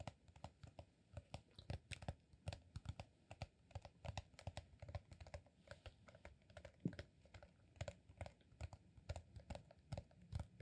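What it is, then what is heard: Rolled beeswax sheet. A green, honeycomb-textured beeswax sheet rolled into a solid cylinder about 25 cm long is held in one hand and tapped and scratched with fingertips and short nails. A quiet, rapid stream of short, dull, low taps is heard, with thin scratchy clicks between them. Each tap dies away almost at once.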